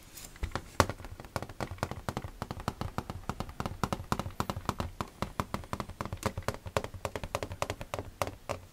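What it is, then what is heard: Empty hollow plastic storage box. Fingertips tap rapidly and unevenly on the clear door and walls of an empty, hollow, clear plastic storage box with its front door opened. The taps are short, dry and quick-fading, with a low, hollow body and only a little brightness on top.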